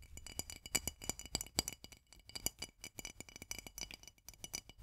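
Long fingernails rapidly tap and scratch the flat white metal twist lid of a full glass jar of mandarin marmalade held upside down. The result is a quick run of short, bright clicks and ticks with faint rattling scrapes between them.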